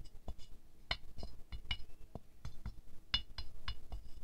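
A wooden stick taps the petal edges of a small silver-glazed ceramic rose figurine. A run of quick, light clinks comes at uneven spacing, each with a bright glassy ping over a soft low knock that dies away almost at once.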